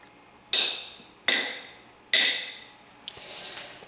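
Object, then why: Cast iron camshaft. A cast iron Chevy camshaft is tapped for comparison with a steel camshaft. Three sharp taps each ring briefly with a bright, high metallic tone, followed by two fainter knocks.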